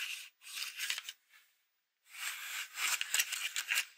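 Long acrylic nails scratch across the cover and inside of a Halloween paper greeting card with a folded-paper pumpkin. The result is dry, bright, papery scratching in uneven bursts, a brief silence midway, then denser and louder scratching to the end.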